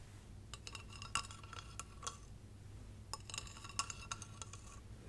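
Long red nails tap along the ridged surface of a small, hollow, light-up glass Christmas tree figurine with a base and star topper as it is held up. Two bursts of quick, bright glassy clinks are heard, each with a brief ringing tone, over a low steady hum.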